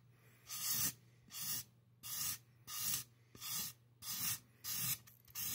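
A black-gloved hand drags a black marker in quick hatching strokes across the top of a solid expanded polystyrene mannequin head, scratching over the foam beads. Eight separate bright, hissy scratching bursts come in a loose, uneven rhythm, with almost no low end and no ring between them.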